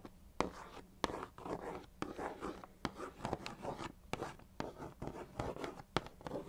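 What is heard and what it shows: Long nails scratch and trace across a hollow, medium-size Weetabix chocolate cardboard cereal box, giving a soft, papery rasp broken by sharp clicks as the nails catch the surface. The clicks die out almost instantly.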